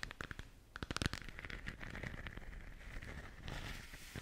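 A lit, hollow, translucent plastic moon lamp ball is held in the hands while long nails tap and scratch its surface. Quick, sharp, crackly taps come first, then give way to a steady, bright scraping and rustling that continues to the end.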